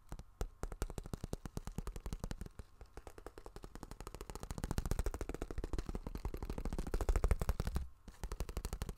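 Fingernails rapidly tap and scratch a small, flexible, iridescent holographic vinyl zip cosmetic pouch held in both hands, crinkling the plastic as they go. The result is a dense stream of short, dull, low-heavy clicks with quick decay. The tapping grows louder through the middle, dips briefly near the end, then resumes.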